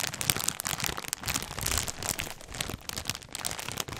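A full, clear plastic polybag holding folded black clothing with a white tag is squeezed and crinkled by hands with red nails close to the microphone. Dense, bright crinkling and crackling rustles on continuously in irregular bursts.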